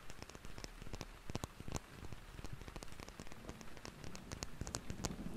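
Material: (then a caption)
Plastic. A red cylindrical plastic cosmetic bottle with a white cap, about palm-length, is held in both hands and tapped rapidly with fingertips and nails. The taps form a quick, uneven, rain-like patter of soft clicks with short, bright ticks over a low body. Each tap dies away almost at once.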